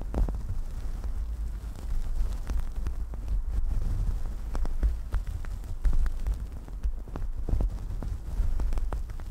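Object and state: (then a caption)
Synthetic fur microphone windscreen. Long dark nails scratch the top of a fluffy synthetic faux-fur microphone windscreen, fingertips pointing down. The result is a steady, deep, muffled rumbling scratch with almost all its energy in the low range, broken by many short crackling scrapes.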